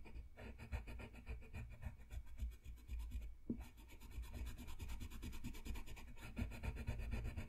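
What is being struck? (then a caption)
Colored pencil on paper drawing sheet. A red colored pencil scratches and rubs across a thin, solid sheet of flat white drawing paper on a desk in small coloring strokes. The result is a quiet, steady stream of rapid, dry scratching strokes with a soft, low-heavy rumble under them.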